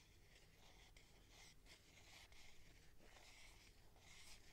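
Long nails tap and scratch the side and top of a clear plastic tube container with sponges inside. The sound is a quiet, continuous bright scratching and rubbing with soft taps, over a steady low hum.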